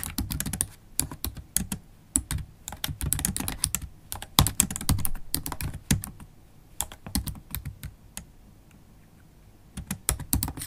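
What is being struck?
Laptop keyboard with plastic keys in an aluminium body.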